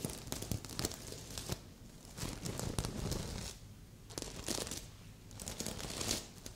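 Long red and pink nails scratch across a medium, soft stuffed heart-shaped pillow covered in red and silver reversible plastic sequins. The result is bursts of bright, crinkly rustling and scraping with quick clicks as the sequins flip, separated by quieter pauses.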